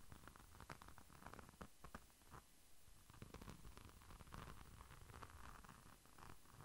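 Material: Glitter-coated plastic.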